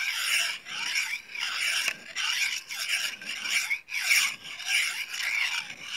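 A small solid steel knife with a thin blade is honed with scraping strokes along a steel rod. Each stroke makes a bright, rasping metallic scrape with a pitch that swoops up and down and almost no low end. The strokes repeat at a steady but uneven pace, with short gaps between them.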